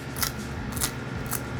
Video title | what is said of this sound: Neapolitan Pizza at Home: Marinara vs Margherita | You can hear how crispy this crust is, and it's full of air. Light, airy, digestible.